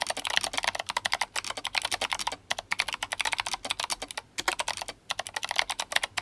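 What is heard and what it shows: Both hands type fast on an RGB-backlit GMMK Compact mechanical keyboard fitted with clicky Kailh Box White switches and plastic SA keycaps. The keystrokes come as a rapid stream of sharp, bright, dry clicks with no low rumble, broken by two short pauses.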